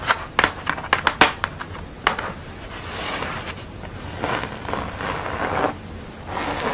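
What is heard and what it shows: Long nails tap and scratch the textured orange area of a flat paper portrait artwork on a thin board lying on a towel. A quick run of sharp, crisp taps in the first two seconds gives way to softer, hissing scratches and rubbing across the surface.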